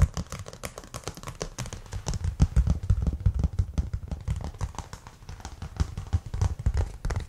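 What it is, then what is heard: Cork board. A thin, solid, flat brown cork board is held up and tapped and scratched with fingertips and nails. It makes a fast, irregular run of soft, dull taps and scratchy rustles, mostly low thuds with brief bright scraping edges.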